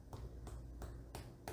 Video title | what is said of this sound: Making Springerle Cookies - an Instructional Video | if you thump it it sounds hollow so that's how much um air that you've whipped into your eggs